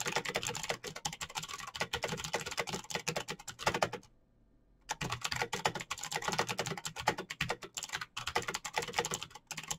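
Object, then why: Plastic mechanical keyboard. Fingertips type rapidly on a black, backlit plastic mechanical keyboard with clicky switches, producing a dense stream of sharp, bright clicks. The typing stops for about a second of near silence, then resumes at the same fast pace until the end.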